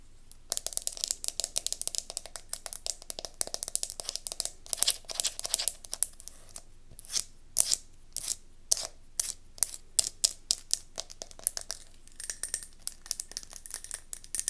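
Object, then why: Glass candle jar. Long nails scratch and tap rapidly on the bottom and sides of a round silver-gold mercury glass candle jar turned on its side, base forward. Dense bursts of bright, crisp clicks and scratchy rasps come in quick clusters, with brief pauses between runs.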